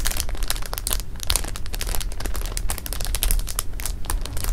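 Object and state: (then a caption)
Plastic bag of jelly beans being rubbed and scratched. Fingertips with painted nails rub, press and scratch the surface of a full clear plastic bag of jelly beans resting on fabric. Dense, continuous crinkling and crackling comes in quick bright bursts over a steady low rumble, with no pauses across the clip.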